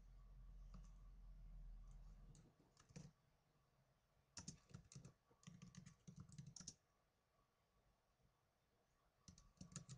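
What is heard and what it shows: Fingertips with blue nails type on the plastic keys of a small black plastic netbook, producing bursts of quick, bright clicking separated by short pauses. A low hum underlies the first couple of seconds before fading, leaving the soft, irregular tapping in a quiet background.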